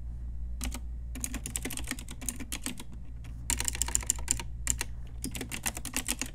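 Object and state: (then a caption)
Plastic mechanical keyboard. An Ajazz pink retro typewriter-style mechanical keyboard with round plastic keycaps is typed on with long nails and fingertips. Rapid bursts of sharp, bright plastic clacks come in runs with short pauses between, over a steady low hum.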